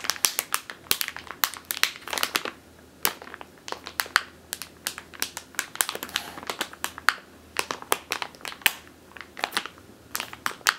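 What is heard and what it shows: Long teal nails scratch and squeeze a medium clear plastic bag with a purple label, full of flour or grain. It gives a dense run of sharp, dry, bright crinkles and crackles with quick pauses between bursts and almost no low end. Each snap dies away almost instantly.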